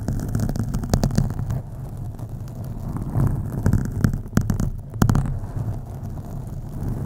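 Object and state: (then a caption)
Foam microphone windscreen being scratched. Long acrylic nails on both hands scratch a black foam windscreen on a USB microphone. The result is a dense, muffled, bass-heavy rumbling scrape, broken by sharp crackling bursts that flare brightly before dropping back into the low rustle.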